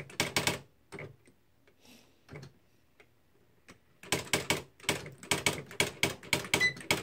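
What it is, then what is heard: Electric typewriter typing. Both hands type with fingertips on the plastic keys of a beige plastic Smith-Corona Mark V electric typewriter loaded with paper, and the mechanism strikes the paper. Sharp, bright clacks with a tone near 2.3 kHz cut off almost at once. After a sparse, quieter stretch in the middle, they come in a fast, uneven run of about twenty strikes.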